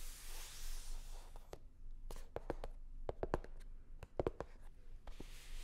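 Long nails rub and scratch a hollow, navy blue hard-shell sunglasses case covered in faux leather. A soft, breathy scraping hiss opens and closes the clip. In between, a quick run of short, sharp scratchy clicks has a slightly hollow, mid-pitched knock.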